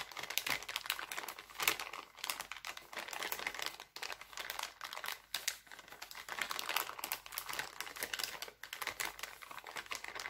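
Hands scrunch and crinkle an empty, thin, clear heart-printed cellophane plastic bag. This produces a dense, steady stream of bright, crackly crinkling with almost no low end, broken by a few brief lulls.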